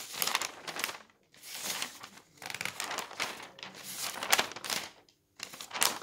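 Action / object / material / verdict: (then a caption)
scrape / newsprint newspaper / paper / none. Thin pages of an open newsprint newspaper lying on a table are turned quickly by hand with the fingertips. The result is a run of bright, papery crinkling and flapping bursts with almost no low end, broken by short silent pauses between turns.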